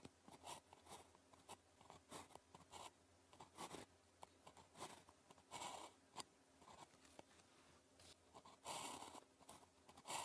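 A blue plastic ballpoint pen, held in the fingers, writes with its tip on a thin grid-printed calligraphy practice sheet lying flat on a desk. The result is a run of short, dry scratching strokes with bright, crisp texture and soft pauses between them.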